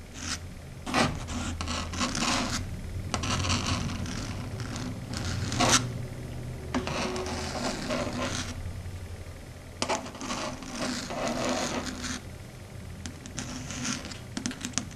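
Long red stiletto nails rub and scratch across a flat matte dark grey chalkboard. Broadband scraping and rasping strokes come in bursts with sharp bright spikes over a low hum.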